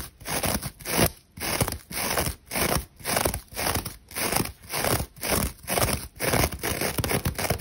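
Long acrylic nails scratch fast and hard across the glittery gold metallic-tinsel scouring layer of a dry, old, hand-sized rectangular kitchen sponge held in one hand. The result is a steady run of crunchy, crackling rasps, about two bursts per second with brief gaps between them, bright and hissy over a low rustle.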